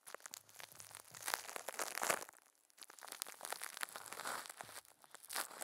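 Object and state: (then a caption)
Plastic wrap crinkling. Thin clear plastic film wrapped around a microphone head is crinkled by a puppet's furry hands, giving dense, bright crumpling and rubbing crackles. The rustling comes in close bursts with a brief quiet pause midway before resuming.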